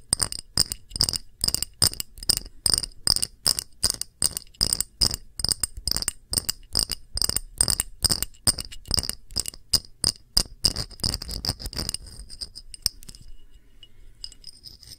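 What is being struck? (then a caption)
Small empty glass dish. A small, round, clear glass dish with bead feet sits empty and is tapped with long nails. It gives a rapid, uneven run of bright, high clinks that stop ringing almost at once. The tapping runs steadily for about twelve seconds, then thins out to a few faint taps.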